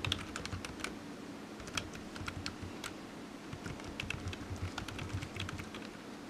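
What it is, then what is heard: Plastic computer keyboard being typed on. Fingertips type steadily on the hollow keys of a low-profile black plastic computer keyboard resting on a desk mat. The result is a quick run of short, bright, hollow taps over a soft low rumble, with each key sound dying away almost at once.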